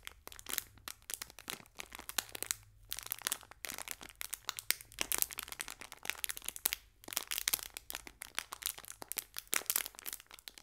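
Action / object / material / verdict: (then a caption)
scrape / foil biscuit wrapper / metal foil / none. A small green metallic foil biscuit wrapper is pressed and squeezed with the fingertips. It gives a dense run of bright, high crinkling and crackling with very little low end and no ring, broken by brief pauses.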